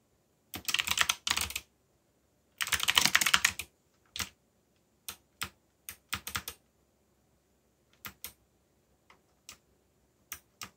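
Fingertips type fast on a backlit mechanical keyboard with black plastic keycaps and a yellow backlight. Two dense bursts of bright, clacky keystrokes are followed by scattered single key presses, each a short, dry click with almost no low end.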